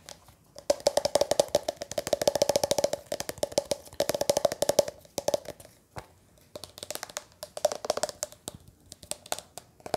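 Fingertips and nails tap a hollow, closed, lime-green hard plastic pencil box about hand length while it is held and turned close to the microphone. Rapid, dry, hollow clicks ring with a boxy tone around 580 Hz, coming in dense bursts with brief pauses. A few sharper, brighter knocks stand out among the lighter taps.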